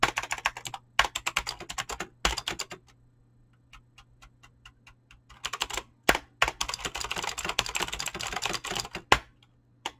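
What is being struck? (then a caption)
Mechanical keyboard with clicky switches and PBT plastic keycaps. Fingertips fast-type on a mechanical keyboard with clicky green switches and PBT plastic keycaps, producing rapid, bright, crisp clacks in quick bursts separated by short pauses and a few sparse, softer taps. A faint steady low hum runs underneath.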